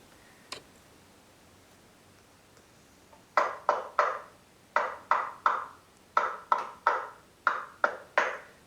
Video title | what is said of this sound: Speaker Feature :Polk RTiA1 - Squeaky clean sound! | you can hear even on there that they're a little bit more Hollow but they're also very large cabinets